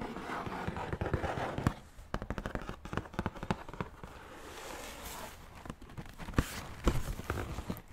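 Fingertips and nails tap and scratch the lid of a large black Jordan shoe box with a gold logo, made of hollow, rigid cardboard. Quick bursts of dry, hollow clicks alternate with soft, brushing scratches. Each tap has a dull, low body and dies away almost instantly.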